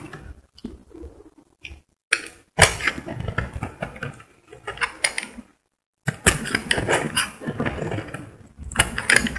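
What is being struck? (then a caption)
Cream bar soap. A solid cream bar of soap held in the hand is scraped with a metal utility blade, sending shavings falling. Short, dry, bright scratching strokes come in uneven bursts, broken by a couple of brief silent pauses.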